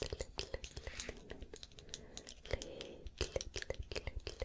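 Long nails scratch along the surface of a small light-wood cylindrical piece with a band around its middle, held in both hands. The result is a rapid, uneven run of dry scratches and sharp little clicks, each dying away almost instantly, over a soft, quiet hiss.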